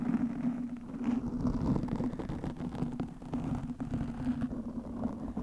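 Long nails scratch a black, soft, porous foam windscreen over a microphone. The result is a dense, continuous rustling scrape with a boomy low end and a steady hum-like tone around 230 Hz, with no bright high-frequency content.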